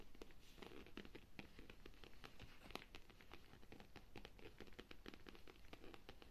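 Long nails tap and scratch a hollow black pebbled leather handbag with metal zippers and a buckle, resting on a sofa. Quick, soft, dry clicks and scratchy patters come in a steady, dense stream, each dying away almost at once over a low, quiet rumble.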